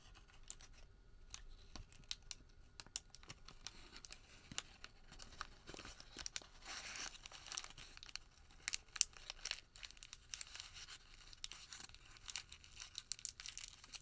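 A wrinkled, thin white thermal paper receipt is held flat, then crumpled into a small ball with bare fingertips. Quiet, bright crinkling and crackling fill the clip, with sharp snaps scattered throughout and a denser rustling burst partway through. The sound is mostly high and crisp, with little low end.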